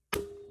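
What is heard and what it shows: While rebuilding a GM 149 transfer case, a steel snap ring on the input shaft is tapped down with a hammer and flathead until it drops into its groove. A single sharp metallic click is heard, followed by a ringing tone near 400 Hz. The snap ring is seated in the groove.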